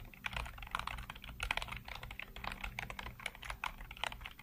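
Fingertips type rapidly across a full-size black plastic computer keyboard with hollow keycaps, seen close up. A quick, uneven stream of dry, bright clacks with almost no ring sits over a faint steady low hum.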